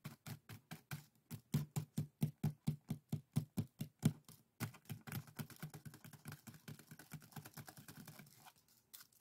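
Fingertips and nails scratch across the woven strips of a small, hollow, empty pair of split-bamboo bokjori strainers tied together on a table. Distinct dry, rasping strokes with a low hollow body repeat at a steady pace, then after a brief pause the scratching becomes faster and denser and gradually softens.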